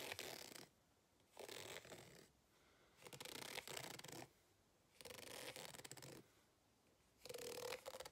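A white plastic fork held in the hand scratches across the ribs of a green ribbed rubber hot water bottle with an embossed logo, lying flat, hollow and apparently empty. Five separate bursts of raspy, bright scratching alternate with quiet gaps, some carrying a faint hollow tone near 500 Hz.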